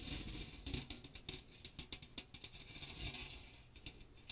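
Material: Metal mesh.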